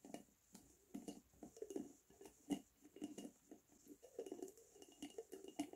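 A glass Lotus Biscoff spread jar with a red plastic screw lid, held tilted in one hand, is tapped and scratched with fingernails on the lid and the glass body. The result is a quiet, irregular patter of soft, dull taps and short scratchy strokes centered in the low-mid range, each dying away almost at once, over a faint steady high hiss.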